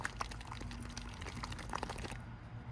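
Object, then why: Plastic ration pouch of soup. A warm plastic pouch of rehydrated chicken noodle soup from a 1998 US cold-weather ration (RCW Menu 4-A) is shaken to mix it. Liquid sloshes continuously inside, with soft splashy bursts and a low rumbling underneath. The shaking stops near the end.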